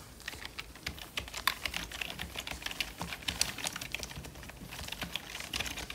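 A full-size black plastic membrane computer keyboard with a hollow casing is typed on by fingertips in purple nitrile gloves. A steady stream of quick, bright, dry key clicks and taps with almost no ring, some strokes sharper than others.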